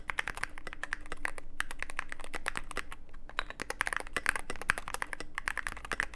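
Fingertips of both hands type continuously on a Cyberboard mechanical keyboard with plastic keycaps and a dark case. A rapid, uneven stream of short, dry clacks peaks around 1.6 kHz with bright edges, over a faint steady low hum. Each keystroke dies almost instantly, with brief pauses between bursts.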